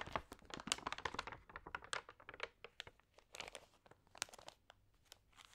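Fingertips rub and turn the wavy, water-sprayed thin pages of an open glossy paper magazine. The result is quiet, dense, crisp crinkling: a rapid series of short, bright crackles with almost no low end. The bursts are busiest at the start and thin out toward the end.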